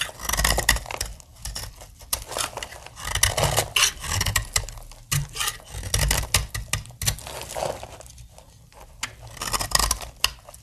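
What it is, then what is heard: Dry soap bar being shaved. A metal blade shaves crumbly plates off the end of a solid, dry pink soap bar. The result is a dense run of bright, dry scraping and crackling strokes with short crumbling patter between them. Each stroke dies away almost at once.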